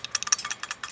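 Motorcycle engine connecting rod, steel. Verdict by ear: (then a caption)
Loose. A worn steel connecting rod in a motorcycle engine, badly damaged with excessive up-and-down play, is knocked, producing a quick series of about seven short, bright metallic clacks with almost no ring. The damage calls for replacing the rod with a new original one, along with two bearings and a cylinder rebore.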